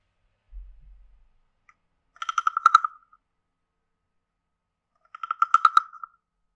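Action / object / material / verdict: scrape / carved wooden frog guiro scraped with a stick / wood / none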